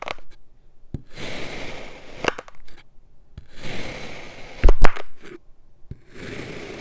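An iridescent metal knife slices thin layers off a solid blue kinetic sand dome resting on a white surface. Soft, gritty scraping and crunching strokes alternate with quiet pauses, and a few sharper, louder clicks stand out near the middle.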